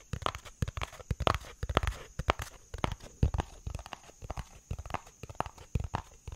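A hollow, yellow-tan cardboard box held in the hands is tapped quickly with fingertips and nails, making a steady run of short, dull, hollow knocks. Each tap is mostly low thump with a faint bright click on top, and dies away at once with no ring.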